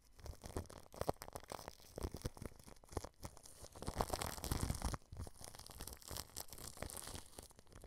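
A paintbrush tip rubs clear plastic cling film wrapped over a microphone's mesh grille, producing close, crinkly brushing and crackling strokes. The sound is dense and bass-heavy with short, dry rustles, easing briefly around the five-second mark before resuming.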